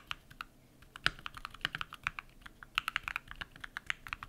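A compact modded mechanical keyboard with white PBT plastic keycaps and lubed switches is typed on rapidly with bare fingertips. About 26 short, crisp clacks are heard with a bright, clicky tone centered around 1.5 kHz. Each one dies away almost instantly, with very little low-end thump.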